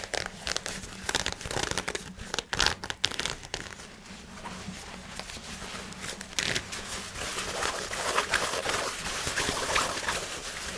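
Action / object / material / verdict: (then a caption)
scrape / synthetic nylon fabric shorts / nylon / none. Fingers scratch and crumple black nylon fabric shorts made of synthetic fabric, giving dry, bright crinkling and rustling with many quick, sharp scratches. A cluster of louder crackles comes early in the clip, then a denser, steadier crumpling fills the last few seconds.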